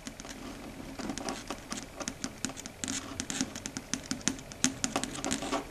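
Long red stiletto nail tips tap quickly on a flat, solid, dark grey chalkboard surface. The result is a rapid, uneven series of sharp, bright clicks that die away almost instantly over a faint hollow hum around 250 Hz. The taps grow denser and slightly louder toward the end.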